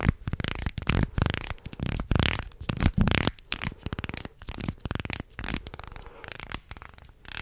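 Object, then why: Wooden segmented shark toy. A wooden segmented shark toy with slotted segments is flexed in both hands, then held upright while nails scratch down the segments. Dense, low-heavy clattering ticks and rasping scrapes come in quick bursts, loudest early and thinning to lighter, scratchier clicks toward the end.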